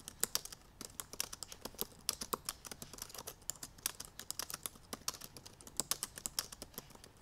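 Long purple nails type rapidly on the black plastic keys of a silver aluminum MacBook Pro laptop keyboard. The result is a fast, steady stream of sharp, bright clicks and taps with almost no low end, each dying away instantly over a faint background hiss.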